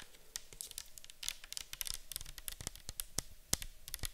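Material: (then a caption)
Plastic. A round, clear, likely plastic bottle with a white cap, partly filled with orange liquid, is held and tilted while long acrylic nails tap and scratch it. Quick, sharp, bright clicks mix with soft scratchy rustling, all at a quiet level with very short decays.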